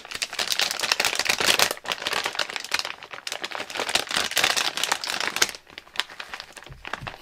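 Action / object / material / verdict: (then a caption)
shake / metallized plastic chip bag / metallized plastic / none. Fingers crinkle and turn a medium-size, partly full Clover Chips barbecue corn snack bag made of thin metallized plastic. The result is dense, bright crinkling in steady bursts, easing briefly near 1.8 and 5.6 seconds before softer rustles at the end.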